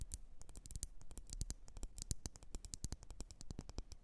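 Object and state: Glass candle jar tapped with nails.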